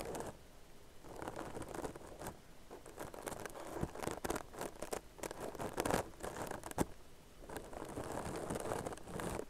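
Long nails scratch and tap the stitches of a tan crocheted yarn purse held close to the face and microphone. The result is a quiet, dense, fibrous scratching and rustling patter, broken by occasional sharper taps that stop dead.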